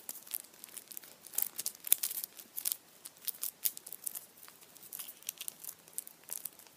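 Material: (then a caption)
Aluminium foil. A hand-sized Kinder chocolate Easter bunny wrapped in printed aluminium foil stands upright while its foil is squeezed and crinkled with the fingertips. Dense, quick, bright crackles and rustles come in uneven bursts for the whole clip, with almost no low end. Each crinkle stops sharply, with no ring.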